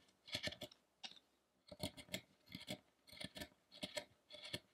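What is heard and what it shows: A small steel chisel scrapes and cuts at the ribcage area of a solid carved wooden Buddha figure resting on a table. Many short, crisp cutting strokes come in quick clusters separated by brief quiet pauses, each a bright, high scratchy scrape with little low end and almost no ring.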